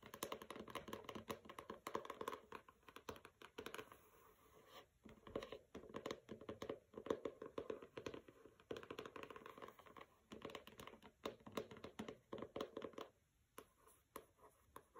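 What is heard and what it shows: Fingernails tap rapidly on the front cover of a pink paper-covered hardcover book, "Don't Overthink It," resting on carpet. Quick, dry clicks and scratchy bursts come in dense runs with a papery midrange tone, broken by brief quieter pauses.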